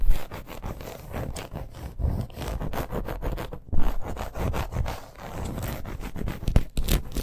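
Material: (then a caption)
Faux leather. A red snake-embossed faux leather bracer lies flat while long acrylic nails scratch quickly across it. The result is a dense, uneven run of short rasping scrapes and scratchy bursts with a low, muffled body and brief louder strokes.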